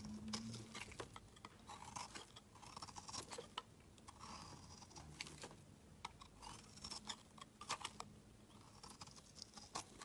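A solid, rectangular, palm-sized blue bar soap is held in the hand and shaved with a flat metal blade, peeling off flaky curls. Soft, dry scraping strokes carry a dense run of crisp, bright crackles and ticks. The whole clip stays quiet and close.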